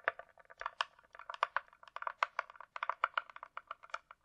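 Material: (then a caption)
Plastic. Long nails tap rapidly on the top and sides of a closed, hollow hard-shell glasses case with a glossy coated shell, likely plastic. About 23 quick, dry clicks fall in an uneven rhythm, each with a midrange knock near 1.2 kHz and a bright tick. The taps have no low end and die away almost at once.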